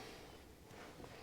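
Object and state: Nothing is struck.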